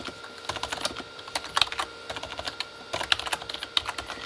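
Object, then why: Plastic computer keyboard. Both hands type with their fingertips on a full-size Corsair K35 plastic mechanical keyboard with red-backlit plastic keys. The result is a rapid, uneven run of short, bright, dry key clicks with almost no low end, occasional louder clacks, and quiet gaps between bursts.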